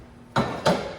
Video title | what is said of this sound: FBI team foot pursuit story told by Bridget. Washington D.C. Bridget recalls early career in 1992 . | I'll tap it. Still feels kind of dense.